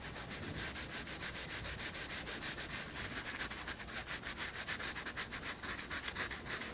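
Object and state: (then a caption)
Pencil shading on a sketchbook page. A graphite pencil shades and draws on a white paper sketchbook page with rubbing strokes. Quick, steady back-and-forth scratches make a bright, papery hiss that pulses about three times per second, with little low end.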